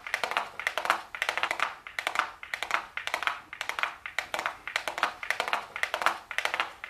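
A small, flat, hollow gold cardboard makeup box labeled "golden" is held closed in the hands and tapped with super long blue acrylic nails. Quick clusters of light, dry, hollow clicks repeat in bursts about every half second, with a papery mid-to-bright tone and almost no ring.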